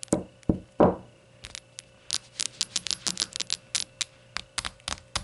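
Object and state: Shot glasses.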